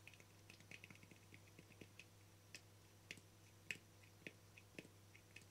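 Fingertips and nails tap and scratch the face and rim of a small, round, hollow, translucent frosted plastic lid. The sharp, bright clicks fall at an uneven pace, with a few louder taps among softer ticks, over a faint steady low hum. Each tap dies away almost instantly.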